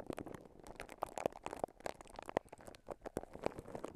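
Clear plastic cling wrap is wrapped around a microphone and held in both hands while fingertips and nails squeeze, scratch and crinkle the film. The result is a quiet, continuous stream of dense crackles and short, sharp snaps, with brief bright crinkles that stop almost instantly.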